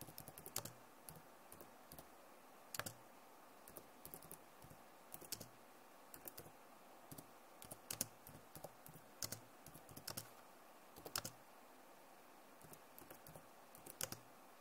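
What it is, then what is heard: Plastic laptop keyboard. Both hands with long nails type quickly on a backlit plastic Acer laptop keyboard. Quiet, bright, dry clicks come in quick irregular bursts with short pauses between them, each tap dying away almost instantly.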